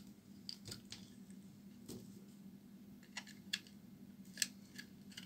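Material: Soap.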